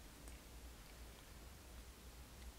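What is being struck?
Nothing is struck.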